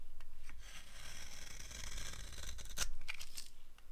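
A green-handled blade scrapes crunchy curls off a solid, dry green soap bar held in the palm. The sound is a steady, crisp scraping with bright, crackly grit over a faint low hum, and a few sharper snaps stand out near the end.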